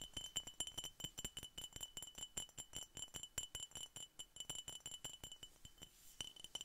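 A glass Coca-Cola bottle is tapped repeatedly in quick, uneven succession, about 40 times. Each tap gives a short, bright glassy clink that dies away almost at once.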